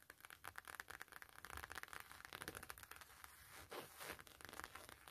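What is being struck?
Coated canvas wallet with leather trim.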